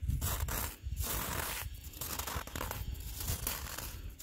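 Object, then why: Icy granular snow surface. Gloved fingertips scratch and rake a coarse, icy granular snow surface on the ground, producing a continuous crunching, tearing rasp. Bursts of grainy, bright crackle ride over a low rumble, with brief dips between strokes throughout the clip.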